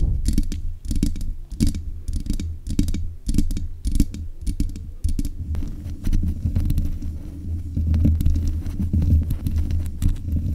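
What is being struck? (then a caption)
Metal mesh microphone grille. Long nails scratch the metal mesh head of a black USB condenser microphone. Heard through the mic, it gives a dense, low, rumbling scrape, broken into quick rhythmic bursts at first and then settling into steadier, continuous scratching with brief bright crackles.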